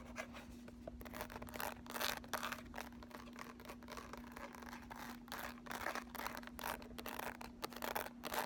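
Long nails scratch along the raised ridges and lettering of a handheld, flat Urban Decay Naked eyeshadow palette with a thin, hollow case and a ridged, sunburst-embossed lid. The result is a quick, irregular run of dry, raspy scratching strokes with bright, high edges. A steady low hum sits underneath throughout.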